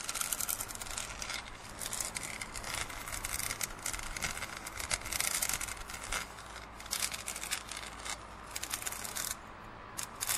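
Fingertips and nails rub and scratch the side of a hollow, printed plastic drinking cup held tilted over a plastic lid. The result is a continuous bright, hissy scratching with rapid tiny clicks over a faint low hum, easing to a quieter stretch near the end.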